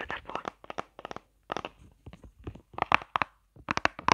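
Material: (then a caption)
Plastic. Long nails tap and scratch the raised squares of a flat, hollow, hand-sized pink plastic eyeshadow palette shaped like a chocolate bar, held in the hand. Quick bursts of sharp, clicky taps and dry scratchy crackles come in uneven clusters with short pauses. Each tap is centered in the midrange with bright edges and almost no low end, and it dies away instantly.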